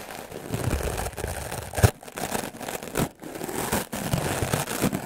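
A solid, white, rectangular melamine foam sponge held in the hand is scrubbed fast and hard with the black bristles of a wooden clothes brush. The result is a dense, rough, crackling scratch with a heavy low-end rumble, running in bursts broken by a few short pauses.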